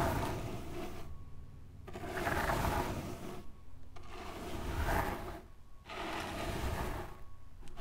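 Both hands with long pink nails dig, rake and scratch through a low mound of loose, pale fine sand spread on a glittery cloth. Gritty, mostly low rustling and scraping comes in repeated strokes, separated by brief near-silent pauses.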